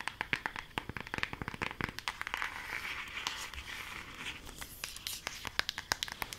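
A flat rectangular cardboard eyeshadow palette, held in both hands and shown front and back, is tapped and scratched with long acrylic nails. Quick, sharp clicking taps give way in the middle to a steady, bright, crinkly scratching, then return to scattered taps. The sound is mostly bright and papery, with little low end.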